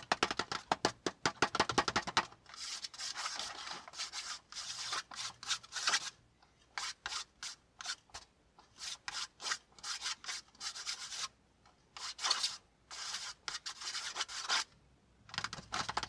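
Fingertips and nails work over a flat brown kraft cardboard panel, a packaging insert lying on a notebook. It opens with a quick run of short, crisp taps, then shifts to bursts of dry, bright rubbing and scratching, separated by brief pauses.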